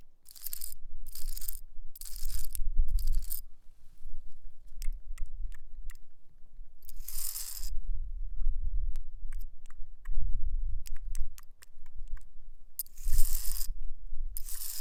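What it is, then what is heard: Rock. A nail attached to a fingertip taps and scratches across a rock. Bursts of bright, hissy scraping alternate with quick, sharp clicking taps over a low rumbling background.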